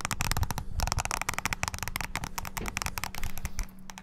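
Fingertips rapidly press the keys of a small black handheld plastic mini wireless keyboard. A dense, fast stream of sharp clicky taps with bright tops and a low thump beneath, running steadily without pause.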